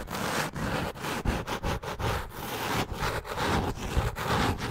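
Long nails scratch and tap the brown cork-textured cover of a solid hardcover notebook with white page edges. The result is a dense, rough scraping rustle with a low thud underneath, broken by brief gaps and sharper taps at an irregular pace.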